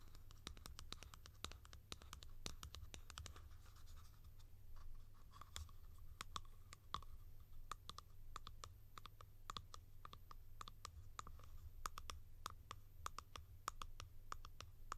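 A tall, hollow blue plastic cap is scratched on its top with long nails, then turned over and tapped on its side. The result is a dense run of quick, dry clicks and scratchy ticks with a light hollow ring around 1.2 kHz, over a steady low hum.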